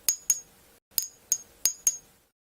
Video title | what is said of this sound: IDENTIFY REAL VS FAKE JADE - Nephrite and Jadeite Jade Treatments and Simulants | you won't get the beautiful ping sound